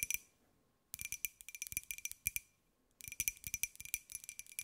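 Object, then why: Small glazed ceramic jar. Long white nails tap a small, hollow, white glossy ceramic jar with a pineapple print, held in both hands. About twenty quick, bright clicks come in bursts separated by brief pauses. Each one is dry and short, with a faint ring around 2.4 kHz.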